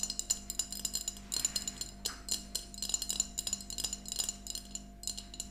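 Long nails of both hands tap quickly on a small, empty glass mason jar mug with a yellow plastic lid, standing upright. The sound is a dense, uneven run of bright clinking taps, each with almost no ring. A faint steady low hum sits beneath them.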